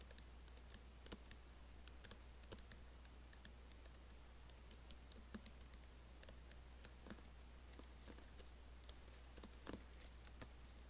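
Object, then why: Laptop keyboard with plastic keys in a metal body. Fingertips and nails lightly tap and type on an Apple laptop keyboard with black plastic keys set in an aluminium body. Quiet, short, bright clicks come in an irregular stream over a steady low hum.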